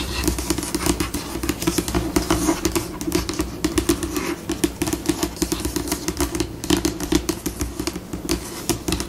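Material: Laminate.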